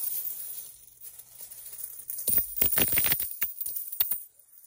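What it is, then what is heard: Pile of metal coins. Children's hands scoop, sift and let a large pile of mixed small solid metal coins, copper-colored and silver-colored, fall back onto a gray carpet. After a quiet opening with faint high hiss and light rustling, a dense run of bright, short metallic clinks and jingles follows as the coins strike each other, then trails off into sparse clicks.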